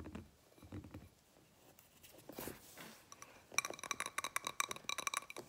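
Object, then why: Glass candle jar filled with wax. A medium blue glass candle jar filled with solid wax is tapped with fingernails on its sides and on its labeled base. Soft, muffled taps and a brief brushing swell give way to a quick run of about a dozen bright, short glassy clinks with a high ring that dies almost at once.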